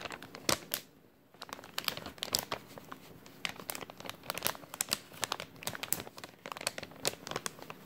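An empty thin clear plastic bag is crumpled and stretched between both hands, giving a dense run of sharp, bright crinkles and crackles. The sound is mostly high and airy with little low end, with a brief quiet pause near the first second before the crinkling resumes.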